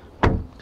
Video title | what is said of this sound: B6342 - 2015 Alfa Romeo Giulietta Quadrifoglio Verde Walkaround Video | that really solid sound when the door closes